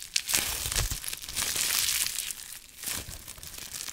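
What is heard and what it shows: Fingertips squeeze, crinkle and pop a small piece of clear plastic bubble wrap with yellow tape and hollow air bubbles close to the microphone. The result is a dense, bright, crackling crinkle with quick sharp snaps scattered throughout and very little low end.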